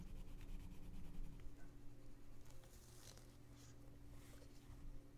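A gloved hand rubs a pink colored pencil on the page of an open paper coloring book lying flat. It colors small areas, making quiet scratchy strokes over a low steady hum.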